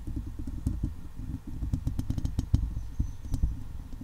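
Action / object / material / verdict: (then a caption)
scrape / steel wire-mesh microphone head / steel mesh / none. Long leopard-print nails scratch across a hollow steel wire-mesh microphone head while fingers rub its side. The result is a dense, low, rumbling scrape broken by sharp ticks and clicks.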